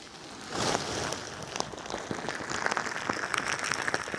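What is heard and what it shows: A pink crinkly bingsu ball, a stretchy plastic skin filled with plastic beads, is held beside the microphone and squeezed and scratched with long nails. A dense crackling, rustling texture swells in after half a second, then continues as quick, bright clicks and pops over a steady grainy hiss.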